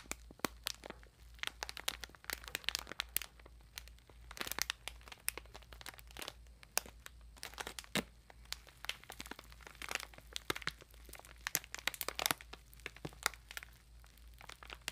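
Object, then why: Bath sponge in clear plastic wrapper. Long nails scratch and rub the clear plastic wrapper over a bath sponge up close, making dense, bright crinkles and sharp crackles. The snaps are quick and dry with no ring, over a faint, steady low hum.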